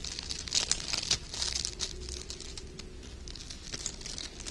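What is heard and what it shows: Loops of thin, light gold sheer wired ribbon are held open and rubbed and crinkled between fingers with short red nails. The crinkling is bright, dry and uneven, with sharper crackles near the start and a softer, steady rustle after that.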